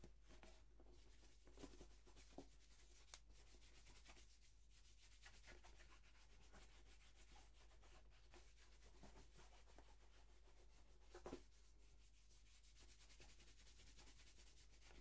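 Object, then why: Leather dress shoe. A single black leather dress shoe, hollow and held in the hand, is rubbed with a white cloth wrapped over the fingertips. Quiet, steady swishing and brushing strokes run throughout over a low, constant hum, broken by a few brief, brighter scuffs.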